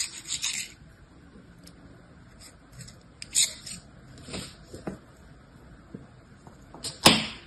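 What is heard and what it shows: A metal knife blade scrapes across pink kinetic sand packed into a small pink square plastic mold held in the hand, leveling it to reveal a star shape. Soft, bright, gritty rasps come in short, irregular strokes over a quiet background, with a sharper scrape near the end.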